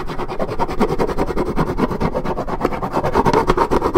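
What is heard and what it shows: Long red nails keep scratching a scuffed white patch on the printed side of a hollow Minute Maid 1.75 L coated paperboard orange juice carton, its fill level unseen. The result is a steady, dense, rasping scratch with a hollow, low-to-mid body and little brightness, pulsing in quick strokes throughout. At the end, the hand lifts away.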